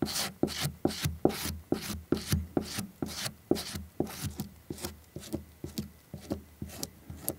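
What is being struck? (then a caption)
Stacked leather heel lift. A small curved stacked leather heel lift with a dark rubber edge is held in the fingers while its flat leather face is scrubbed back and forth with a small orange-tipped tool. About 18 short, dry rubbing and scratching strokes come at a steady, slightly uneven pace, each a brief bright scrape over a low thud.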